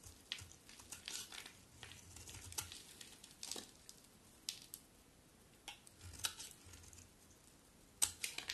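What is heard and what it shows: A box cutter blade scrapes and shaves a hand-sized solid cream bar of soap with a dark outer layer, and flakes fall off. Quiet, bright, crisp scraping strokes come in short irregular bursts with little low end, with a few sharper cuts standing out near the end.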